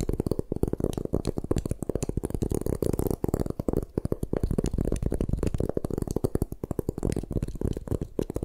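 Long nails scratch and tap rapidly across the faces of a solid white gym chalk block held in the hands. The result is a dense, continuous stream of dry, muffled scraping and clicking, weighted toward low and mid tones with little brightness.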